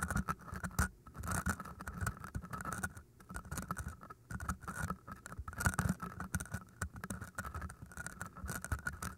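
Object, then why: Green floral foam block. Long painted nails scratch and tap the sides of two solid, hand-sized green floral foam cylinders with microphones inside. The result is a dense, muffled run of soft scratches and quick dull taps, heavy in the low end, with a faint crisp rasp over it.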